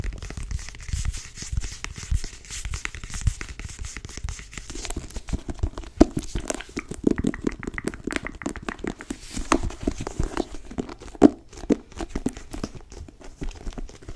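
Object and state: Cloth-bound hardcover book.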